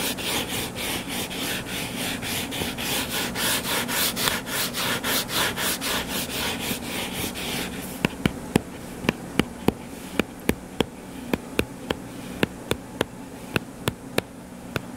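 Fingertips scratch the cover of a closed, solid hardcover book lying flat on a table, making a fast, steady run of bright, raspy strokes. About halfway through, the scratching gives way to sharp, dry taps with no ring, spaced fairly evenly over a faint low hum.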